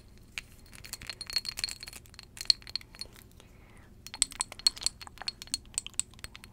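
A small, partly full glass perfume bottle held in both hands is tapped with long jeweled nails. It gives bright, high, chime-like clinks that ring only briefly, with a quiet pause partway through before the tapping picks up again.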